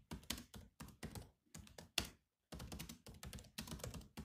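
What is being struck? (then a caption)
Laptop keyboard with plastic keys. Fingertips of two hands type steadily on the low-profile plastic chiclet keys of a grey metal-bodied laptop resting on a desk. Quick, bright clicky taps with very short decay come in uneven bursts, with a brief silent pause midway before typing resumes.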